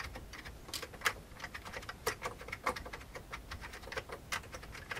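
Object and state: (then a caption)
Plastic computer keyboard being typed on. Fingertips of both hands type fast on the keycaps of a full-size old beige plastic computer keyboard with a hollow plastic case. A quick, steady stream of short, bright plastic clicks and clacks comes through, with a few louder key strikes standing out. Each click dies away almost at once.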